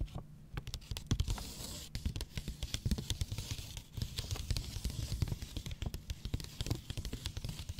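Long painted nails tap and scratch the brown kraft paper wrapping a long rectangular cardboard box, probably hollow, held on a lap. A rapid, uneven run of crisp, dry taps and papery scratches plays over a soft, hollow low thump from the box. The sound is bright and rustly on top, with each tap cutting off almost instantly.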